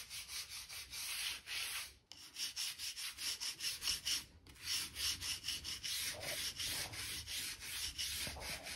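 A stiff crevice brush is rubbed along the joints between light solid oak floorboards, brushing out dirt and dust. Quick back-and-forth strokes make a bright, dry, scratchy hiss with almost no low end, pausing briefly around two seconds and again just after four seconds.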